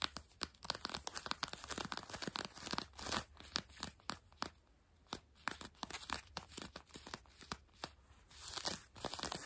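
Long French-tip nails on both hands scratch grey-blue denim jeans stretched over a bent knee. Dozens of quick, dry, bright scratching strokes come in bursts, separated by short quiet pauses over a faint low steady hum.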